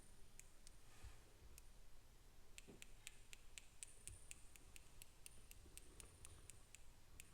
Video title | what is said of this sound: Soft Spoken ASMR 💎💗 1hr of EARRINGS | A little bit rough. I wonder if you can hear the clinking